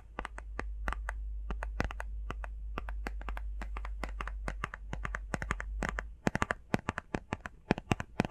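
Long fingernails tap rapidly on the faces and edges of a small, hollow, rectangular printed cardboard face mask box. They make dozens of sharp, dry clicks that die away almost instantly and reach bright highs. A steady low hum runs beneath the taps for the first six seconds, then drops away, leaving the last, louder taps standing apart in near silence.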